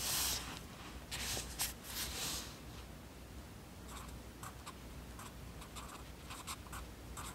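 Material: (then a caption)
Paper. A yellow wooden graphite pencil, held in the right hand, writes on an open lined paper notebook lying flat on a desk as its tip scratches across the page. Longer, louder bright scratching strokes come first, followed by a run of short, quieter irregular scratches. A faint steady low hum sits underneath throughout.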